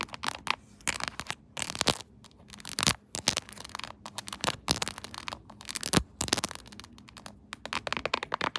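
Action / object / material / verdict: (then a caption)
tap / plastic phone case / plastic / none. Long acrylic nails tap and scratch the back of a smartphone in a shiny silver, chrome-finish plastic case with a quilted diamond pattern, mounted upright on a tripod holder. The hard, hollow-backed case gives bright, clicky taps and scratchy scrapes in quick irregular bursts, with brief pauses between clusters.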